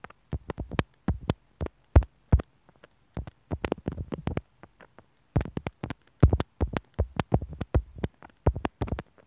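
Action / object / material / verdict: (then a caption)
tap / plastic earphone inline mic remote tapped with a steel needle / plastic / none. A steel sewing needle repeatedly taps and scratches the mic hole of a small white hollow plastic inline microphone remote on a white earphone cable, which is lying on a wooden table. It makes dozens of short, dry ticks and scraping clicks in irregular clusters with brief pauses between them. Each sound has a dull, low-heavy thump and stops almost instantly.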